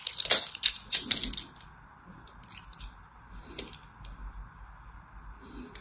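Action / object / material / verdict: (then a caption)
scrape / solid soap bar / soap / none. A solid orange-and-white striped soap bar, held in the hand, is scraped and cut with a small blade. Bright, crisp scraping crackles come in dense bursts for the first second and a half, then thin out into scattered sharp ticks and short scrapes over a faint steady hum.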